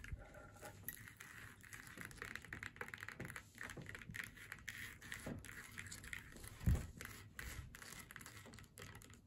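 Long nails tap and scratch across the face and hat band of a flat faux leather snowman door hanger lying on a table. Quiet, soft taps mix with a dry, papery scratching that holds a steady midrange hiss. One louder, low thump stands out near the end.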